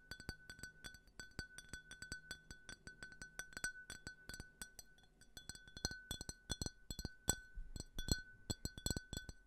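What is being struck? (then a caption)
Small faceted drinking glass. A small, empty, clear glass tumbler with a faceted pattern is held close to a microphone and tapped rapidly and irregularly with fingertips and fingernails. The taps give short, bright glassy clinks that die away almost at once, with soft muffled thumps beneath. A faint steady tone runs under them throughout.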